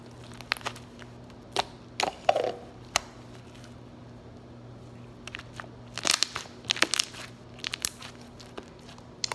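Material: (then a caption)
Slime. A soft lavender slime blob on a granite countertop is poked with fingertips, then pressed and folded flat. It gives sharp, bright crunchy pops and crackles in scattered bursts, with quiet pauses between them and a steady low hum underneath.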